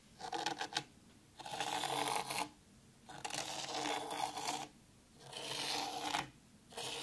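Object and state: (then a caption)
Fine dry sand scratched in a tray. Long pointed pink nails scratch and draw lines through fine dry white sand in a black round tray. A few quick scratchy flicks are followed by long, steady rasping strokes separated by short quiet pauses, giving a bright, grainy hiss with a faint midrange tone.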